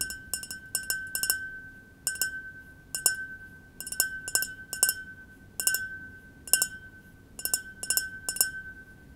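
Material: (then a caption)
Glass. A small, clear, double-walled glass tumbler, partly filled with white wine and held in the palm, is tapped with fingertips and nails in irregular clusters. Each tap gives a bright glassy clink with a faint ring near 1.5 kHz that fades quickly.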